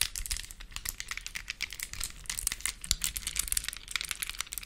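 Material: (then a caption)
Plastic. Long acrylic nails grip a small, solid plastic mini Rubik's cube with colored stickers held close to the mic, twisting its layers and tapping and clicking on it. The result is a dense run of quick, bright plastic clicks and crinkly rattles that die away almost instantly, with little low end.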